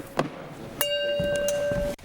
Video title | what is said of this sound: Cooling Beer with Fire and Ancient Electricity - MythBusters | Some of these are a little more dead than the others. If you flick it, hear how that rings.